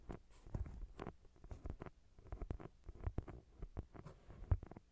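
Fingertips and nails scratch and tap the cover of a thick paperback novel, a solid block of paper. The result is a quiet, rapid run of soft, dull taps that sit mostly in the low range, with brief brushing scratches between them and almost no ring after each touch.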